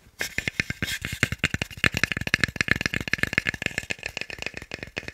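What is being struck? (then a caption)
Small wooden block. A small, solid, pale wooden cube held in one hand is tapped fast with fingertips and nails. About 32 quick, dry, clicky taps come in an uneven rattling stream over five seconds. Each tap is short and bright with a woody knock near 2 kHz and almost no ring.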